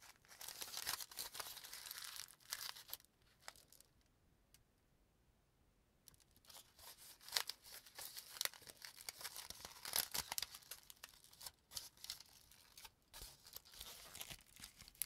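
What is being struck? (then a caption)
Crumpled sheet of aluminum foil. A thin sheet of aluminum cooking foil, crumpled into a loose wad, is squeezed and crinkled between the fingertips of both hands. It gives dense, bright, crackly crinkling with sharp snaps, broken by a near-silent pause of about two seconds before the crinkling resumes.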